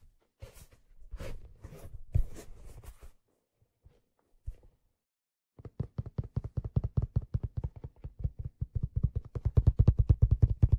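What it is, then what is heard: Leather fedora hat. Fingers rub and scratch along the brim and crown of a black leather fedora with a light-colored lining, held hollow and empty in both hands. A few seconds of scratchy, brushing strokes give way after a short pause to a fast run of soft, low thuds and taps that grow brighter and busier toward the end.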